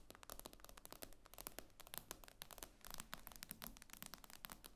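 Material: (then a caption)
Glass. Long nails tap rapidly on the glass screen of an iPad lying flat. The taps are quick, sharp clicks with a bright, crisp edge and almost no ring, coming in a steady, uneven stream at a low level over a faint low hum.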